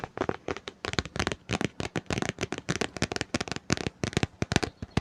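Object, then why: Hardcover book, paper and board. Fingers tap rapidly on a book, making a dense run of short, crisp taps mixed with light scratching. The taps are close together and dry, with almost no ring after each one.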